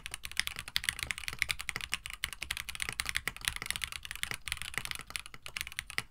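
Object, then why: Plastic mechanical keyboard with PBT keycaps and FR4 plate. Continuous typing by the fingertips of both hands on a compact 65% mechanical keyboard, a KBD67 Lite with Gateron CJ switches, an FR4 plate, a white plastic case and blue/white PBT keycaps. A steady stream of bright, short clacks with a faint low thump, each click cut off almost instantly with no ring.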